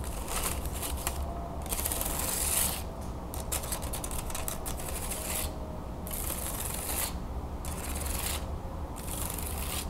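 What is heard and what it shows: Long nails scratch along a closed wooden folding fan with carved slats, then open it and run across the spread slats. Bursts of bright, papery scratching and rubbing come and go over a steady low hum.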